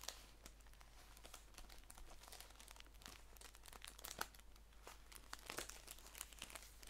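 Fingertips and nails crinkle, scratch and rub a flat green paper tea bag package with a white label, held in both hands on a lap. The result is a quiet, continuous stream of crisp, bright crackles and scratchy rustles with short sharp peaks, over a steady low hum.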